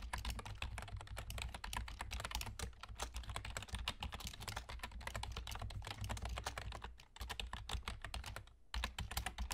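Fingertips of both hands type steadily on a black plastic external gaming keyboard with a German layout and hollow key caps. The result is a dense run of quick, bright, clicky keystrokes over a low steady hum, with brief pauses near the seven- and nine-second marks.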